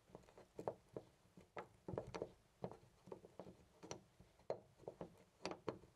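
A round brass-finish door knob on a white panel door is held by the fingertips and shaken back and forth next to a microphone. It gives a quiet, irregular rattle of short, dry clicks and knocks with a mid-pitched tone, each dying away almost at once.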